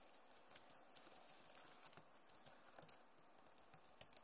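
Long nails tap and scratch across the plastic keys of a backlit Acer laptop keyboard. A quiet, steady patter of sharp, dry clicks with a bright edge sits over a soft scratching hiss, and each tap dies away almost instantly.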